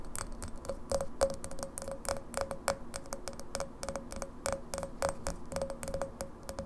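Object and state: Glass pint glass.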